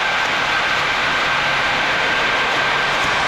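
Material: Nothing is struck.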